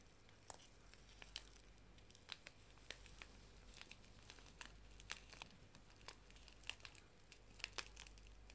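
A small, flat paper tea bag sachet is held in both hands and crinkled and squeezed with the fingertips and nails. Quiet, scattered, sharp crinkles and crackles with bright, crisp tops snap on and off quickly. Beneath them runs a steady low hum.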